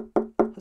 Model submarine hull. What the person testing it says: It's hollow in the fact that in this section here, the walls are around about a centimeter thick, but you can hear it.